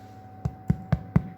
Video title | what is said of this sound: Longford Libraries: Hi-Fiber Brown Bread with Fiona Egan | you hear the hollow sound that's what you're looking for and your bread will feel lovely and light